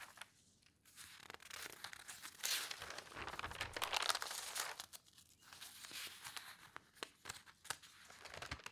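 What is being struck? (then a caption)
Newspaper, thin newsprint paper. Hands turn the pages of an open newspaper sports section of thin newsprint lying on a table, then lift a sheet into the air. The result is a bright, papery crinkling and rustling with irregular crisp snaps, swelling loudest in the middle before settling into quieter, scattered crackles.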